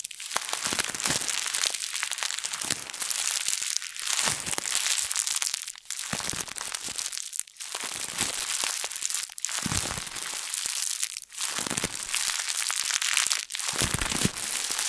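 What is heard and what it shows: A thin printed plastic bag wadded into a ball is squeezed and twisted by both hands with long nails. This produces continuous bright, crisp crinkling and crunching in repeated bursts about every two seconds, with brief dips between them.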